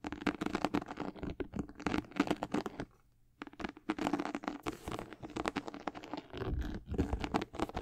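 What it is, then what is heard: Leather sneaker upper being scratched. Long acrylic nails scratch along the side panels and swoosh of a high-top sneaker with a white leather and gold/black patent leather upper. The sound is a dense run of dry, rasping scratches with a steady low-mid tone, broken by a brief near-silent pause around the three-second mark before the scratching resumes.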